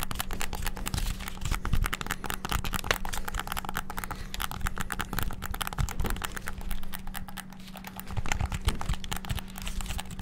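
Fingertips rapidly press the buttons of a white and black hollow plastic PS5-style gamepad, making a fast, continuous stream of sharp, dry plastic clicks and taps. A steady low hum runs underneath, and each click stops almost instantly with no ring.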